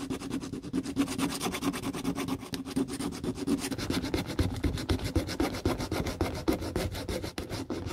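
A gloved hand rubs and sands the side of the solid pale plastic heel of an Aldo tiger-print heeled boot, its old covering stripped off, using a small piece of sandpaper held in the fingertips as the dog-bitten shoe is restored. Quick back-and-forth strokes of about four per second make a dry, raspy scratching with a faint hum near 300 Hz, each stroke fading almost at once.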